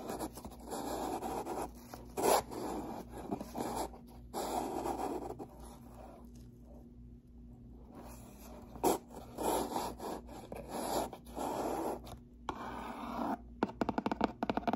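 Long pink nails scratch and tap the front face of a brown corrugated cardboard box with a white label, which is stood on its end and hollow. Soft, dry, papery scratching comes in bursts with a brief quiet stretch in the middle, then a quick run of short, crisp taps at the end.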